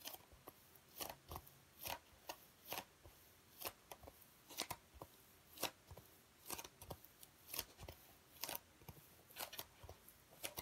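A dark speckled black foam packing block with cut-out compartments is held in both hands while fingertips squeeze, rub and scratch it. Short, bright, crackly scratching bursts come at an irregular pace, roughly one per second, each dying away almost at once over a quiet background.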